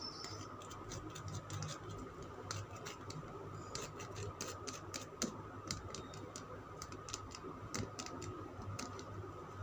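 Fingernails tap a solid oval green Lux soap bar held in one hand. The taps come as a rapid, irregular run of short, bright clicks that die away quickly, over a quiet, steady low hum and a faint constant tone.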